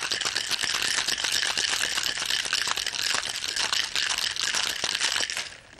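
A hand-sized Boston-style cocktail shaker, apparently a glass mixing glass joined to a metal tin, is held closed and shaken vigorously over the shoulder with both hands, with ice and liquid inside. The ice makes a dense, bright, continuous rattle and clatter with almost no low end. It holds steady for about five seconds, then drops off quickly as the shaking stops.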